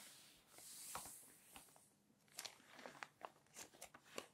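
A hand rubs flat across the pages of an open glossy paper magazine, making a soft, bright swishing hiss that swells and fades over the first two seconds. The hand then lifts and flips a page with long nails, giving a run of sharp, crisp paper crinkles and clicks with a bright, papery edge.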